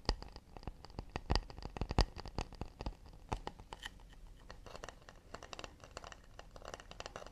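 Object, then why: Acacia wood plate. Fingers tap fast and delicately on an acacia wood plate, making a quick, uneven patter of short, dry wooden clicks with a low thump beneath and a bright tick on top. A few firmer taps stand out in the first two seconds, then the tapping settles into a softer, steady flutter, each tap dying away almost at once.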